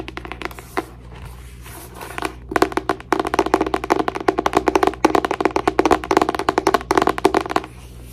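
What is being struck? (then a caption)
Paper journal. A paper journal is tapped and scratched for relaxation. A few soft taps and a quiet scratching stretch lead into bursts of rapid, dry tapping with a muted, mid-pitched tone around 390 Hz, each tap dying away almost instantly.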